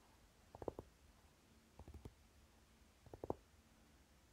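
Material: Flocked tin.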